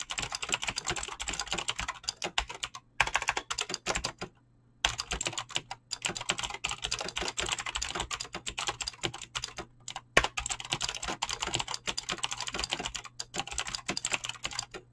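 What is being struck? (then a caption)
Mechanical keyboard with PBT plastic keycaps. Fingertips type fast on a Razer BlackWidow mechanical keyboard with clicky green switches and pink-blue dyed PBT plastic keycaps. A dense, steady stream of sharp, bright clacks runs throughout, broken by brief pauses near 3 and 4.5 seconds. A faint low hum sits underneath.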